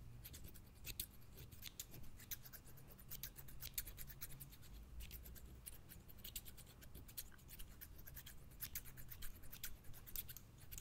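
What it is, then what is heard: Steel scissors snipping. Steel-bladed scissors with green plastic handles, held in one hand beside the microphone, are opened and closed in a steady run of repeated snips. Each snip gives a short, bright, crisp click as the metal edges slide together, over a constant low hum throughout the quiet clip.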